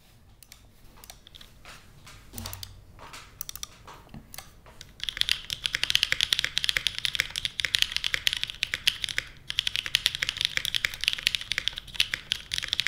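A small 60% Portal mechanical keyboard with a white case, lubed linear Kailh MX Black switches, and black, green, red and blue plastic keycaps sits on a desk mat while fingertips press the keys. The first few seconds bring scattered, softer keystrokes, then steady fast typing sets in with dense, bright, short plastic clacks centred around 3 kHz. Each press dies away almost instantly, with very little low end.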